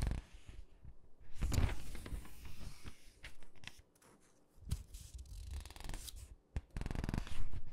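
Fingertips and long pink nails rub and press the glossy paper pages of an open, thin clothing catalog lying flat on a dark table, then turn them. Soft, dry rubbing and faint scratchy taps alternate with louder crinkling swishes as pages lift and flip over, separated by brief quiet gaps.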